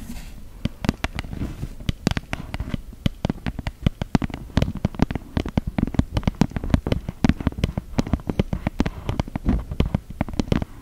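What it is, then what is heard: Empty printed cardboard box. A small, flat, empty cardboard box with a unicorn print is tapped and scratched with long gel nails. The result is a dense, continuous run of quick, dry clicks and taps over soft scratching. Each tap is short and low-toned and dies away almost instantly.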